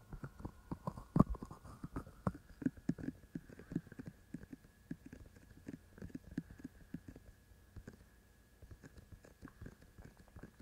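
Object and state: Silicone ears of a binaural microphone tapped and scratched.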